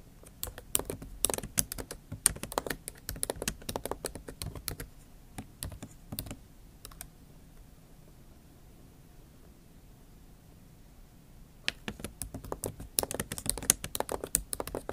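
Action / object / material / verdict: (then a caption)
tap / laptop keyboard with plastic keys in a metal body / plastic / none. Long acrylic nail tips type continuously on the plastic keys of a MacBook Pro keyboard set in an aluminium body, making quick, bright, dry clicks. Rapid bursts of tapping run for about seven seconds, fall to near silence from roughly 7 to 11.5 seconds, then resume in dense clusters to the end.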